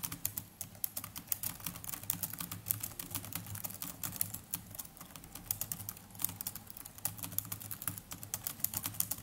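Fingertips of both hands type continuously on the plastic chiclet keys of a small black netbook keyboard. Rapid, bright, short clicks tumble over one another in an uneven stream, with a steady low hum underneath.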